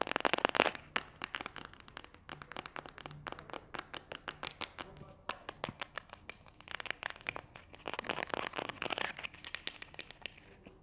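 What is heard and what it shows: Long nails scratch and tap the printed label and body of a small, hollow pink and white plastic glue stick tube with a cap. A rapid run of many sharp, dry taps and raspy scratches is heard, bright and crinkly, with no ringing after each hit.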